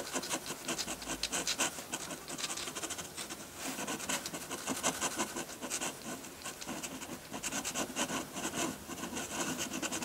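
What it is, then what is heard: Drawing paper scratched by a metal pen nib. A metal dip pen nib on a wooden holder scratches ink strokes onto a flat sheet of white drawing paper. Quick, dense scratching strokes follow one another steadily at a low level, with a bright, papery hiss and very little low end.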